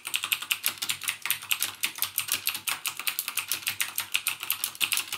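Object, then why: Plastic mechanical keyboard. Fingertips type rapidly on a backlit mechanical keyboard with plastic keycaps and Cherry MX Blue switches. The result is a steady stream of sharp, bright clicks that decay almost instantly, with no low-end thump and the energy centered around 2.8 kHz.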